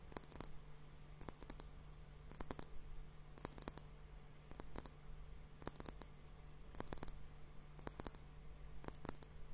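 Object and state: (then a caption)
Glass liquid-filled hourglass timer. A large, hollow, hourglass-shaped clear glass timer, partly filled with pink liquid and foamy bubbles, is held in both hands and tapped with fingertips and nails on both bulbs. Nine short clusters of quick, dry taps come at a steady pace, each with a bright, glassy tick that dies away almost at once. A faint, steady low hum runs underneath.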